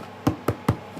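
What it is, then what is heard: Well-baked round loaf of bread. Three low, dull knocks on a large round loaf (tourte) baked about 50 minutes in a wood-fired oven, each thud short with almost no ring. The loaf is not burnt and feels heavy, and the low sound shows it is baked through.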